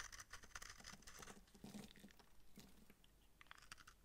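A utility knife blade shaves and scrapes a palm-sized, dry, hard pink massage soap bar with bumps, held in the hand. Quiet, rapid, dry scratching and crackling patter is heard as crumbly flakes break away, with bright crisp edges and short, soft low thuds.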